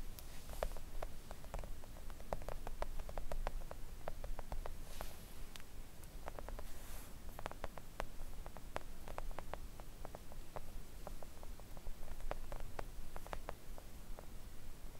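Long coffin-shaped press-on nails tap a thin, solid, flat pink silicone nail art mat lying on a table. Quick, dry clicking taps with a short bright snap and almost no ring follow one another unevenly throughout, over a steady low background rumble.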